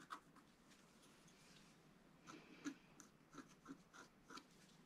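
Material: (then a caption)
Coated paper. A wooden stylus held upright scratches the coating of a flat, black-coated scratch-art card. Seven short, dry scratching strokes stand out over a faint, steady background hiss. The strokes are quiet and brief, each one a soft rasp with a bright edge.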